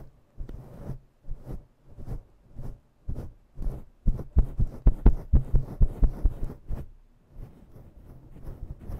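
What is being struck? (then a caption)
Synthetic-fur microphone windscreen. Long nails scratch and pinch a grey and black synthetic-fur microphone windscreen, producing muffled, low, thumping rubs that pulse about twice a second like a heartbeat. The strokes grow louder and denser through the middle, then fade back to softer, quieter scratching at the end.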